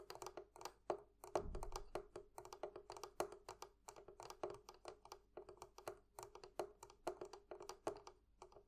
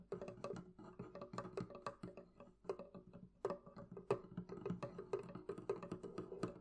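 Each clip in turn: First: metal fittings on a barrel chest. Second: wooden barrel chest.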